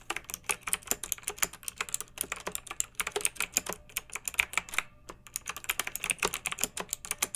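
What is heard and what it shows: Long nails and fingertips of both hands type on a pink backlit mechanical keyboard with round, typewriter-style plastic keycaps, resting on a fluffy rug. A steady stream of sharp, bright plastic clicks and clacks is heard, each dying away almost at once, with a brief pause near the five-second mark before typing resumes.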